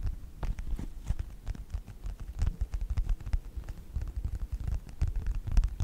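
A small, flat yellow faux-leather wallet or phone-case folio with a snap button is held upright close to the microphone and tapped and scratched with the short-nailed fingertips of both hands. The result is a dense, irregular patter of soft, muffled taps and faint scratches, almost entirely low and thumpy, with each tap dying away almost instantly.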